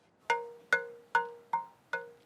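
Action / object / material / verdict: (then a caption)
tap / pernambuco wood bow blank / pernambuco wood / good. A pernambuco wood bow blank is tapped six times at a steady pace, each tap giving a clear, glassy ring with tones near 500 Hz, 950 Hz and 1.5 kHz that fade before the next tap. The blank sounds good and is chosen for the bow being made.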